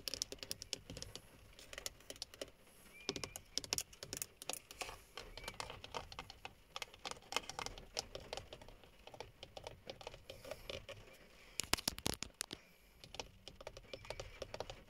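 Long fingernails tap fast on the hollow, textured black plastic top of a steering wheel hub cover. The result is a dense, quiet stream of short, bright clicks with no ring, much like keyboard typing, with a brief louder flurry near the end.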